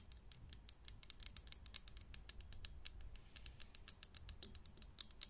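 Long nails tap fast on a lit, hollow, clear glass vintage filament light bulb. The result is a rapid, uneven stream of sharp, bright clicks with a high glassy ping. Each click dies away almost instantly.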